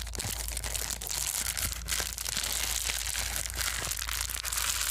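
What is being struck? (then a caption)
Plastic bubble wrap sheet. A small white foam bubble-wrap sheet is held in both hands and crumpled and squeezed with the fingers. The result is a dense, continuous, bright crinkling crackle with quick snapping pops over a faint steady low hum.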